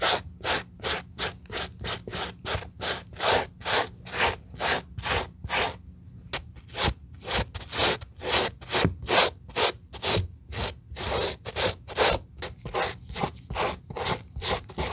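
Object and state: Suede leather sneaker being brushed.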